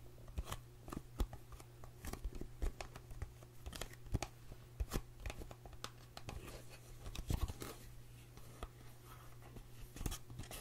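Long fingernails tap and scratch the surface of a small white-and-green Dr. Brandt cardboard skincare box, hollow with the product inside and held in both hands. Sharp, dry clicks and brief scratchy scrapes come in quick, irregular bursts, each dying away almost at once, over a faint steady low hum.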